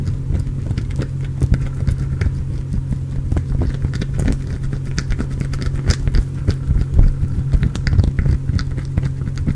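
Fingernails scratch a solid, translucent orange glycerin soap bar close to the microphone, the bar partly shaved with crumbs falling onto the cloth beneath it. Dense, rapid crackling scratches and small clicks sit over a steady, heavy low rumble that persists throughout.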